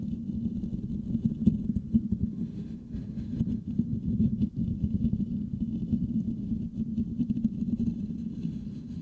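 The metal mesh grille of a Blue Yeti microphone is scratched with the fingertips and nails of both hands. The result is a dense, continuous scratchy rumble centered in the low-mids around 220 Hz, with faint bright ticks above and brief dips in level.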